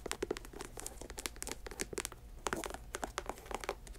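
Long nails tap and scratch the upper and air-bubble sole of a white leather Nike Air Max sneaker, held in hand and hollow and empty inside. A quick, uneven run of dry, clicky taps with crinkly, bright scratching stops dead with no ring, over a steady low hum.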